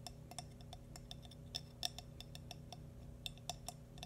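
A small, hollow, glazed cream ceramic baby bootie is tapped quickly with fingernails. Each tap gives a bright, high, glassy click with a brief ring that dies almost at once, over a faint, steady low hum.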